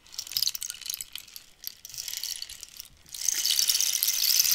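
Long nails scratch along the ridged, holey wood of a long hollow cactus-skeleton rainstick while fingertips tap it, giving bright, crackly bursts of scratching and ticking. After about three seconds the sound swells into a louder, steady, high rattling hiss that continues to the end.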